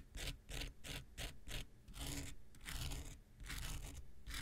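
An X-Acto knife blade scrapes near the end of a small, solid, rectangular pink foam nail buffer block with a gritty surface. Short, quick gritty scratches at first give way to longer, drawn-out scrapes, each with a bright, rasping hiss over a low rumble.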